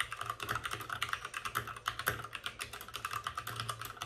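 Both hands type rapidly with their fingertips on the plastic keycaps of a white backlit RGB mechanical computer keyboard, which sits on a desk with a padded wrist rest. Dense, quick clicks and clacks overlap with bright, crisp edges, each dying away almost at once, over a faint low hum.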